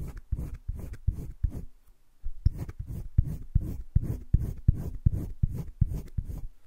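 A green wooden colored pencil shades the right side of a heart drawn on a flat spiral-bound sketchbook page, scratching and rubbing across the paper. The quick, uneven back-and-forth strokes sound soft and low, with a short pause about two seconds in before the shading resumes at a steady pace.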